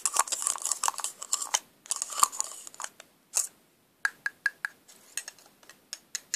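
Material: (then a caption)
Plastic. A small, hollow, silver metallic plastic lipstick tube is handled with pink nails, its cap taken off and clicked back on. Dense rattling and crisp clicking come first, then, after a short gap, a run of sharp, separate bright ticks with a faint tone near 1.2 kHz. The sound is close and dry with almost no low end.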